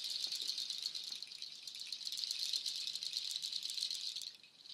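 A nut shell waterfall shaker, made of dark hollow nut shells strung on white cord, is held high and shaken. It gives a dense, continuous bright clattering rattle with no low end, then quiets briefly near the end before picking up again.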